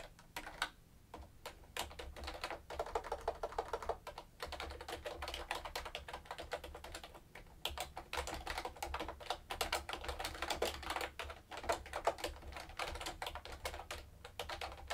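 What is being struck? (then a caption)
Mechanical keyboard with plastic keycaps. Fingertips with long nails type continuously on a mechanical keyboard with round plastic keycaps, making a dense, steady stream of sharp, bright clicks and clacks. The taps come in quick bursts with brief pauses, over a faint low hum.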